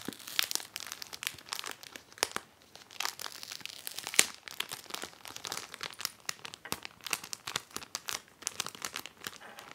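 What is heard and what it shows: Long manicured nails and fingertips rub, smooth and press across an empty, clear, thin polypropylene 9-pocket trading card sheet protector lying flat in an open blue ring binder. The result is a steady run of bright, dry crinkles and crackles with sharp little snaps and almost no low end. Each sound stops instantly with no ring.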